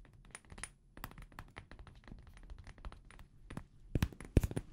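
A small amber glass perfume bottle with a paper label is held sideways in both hands and tapped with fingertips and nails. Quick, irregular, dry clicks and taps run throughout with very short ring, growing louder near the end.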